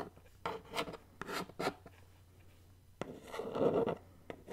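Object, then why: Cardboard mailer box. Long nails scratch and tap across the flat printed face of a medium black cardboard subscription mailer box, held hollow in the hands. Short dry taps and raspy scratching strokes come in separate bursts, with a longer rubbing scratch near the end.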